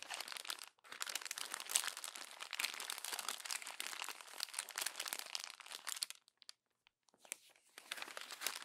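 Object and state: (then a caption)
Glossy paper magazine being crumpled. Hands with long nails gather the pages of an open glossy paper magazine into a crumpled bundle, producing dense, bright crumpling and crinkling. A brief pause near the first second interrupts the rustle, and it thins to scattered crackles around six to seven seconds before resuming.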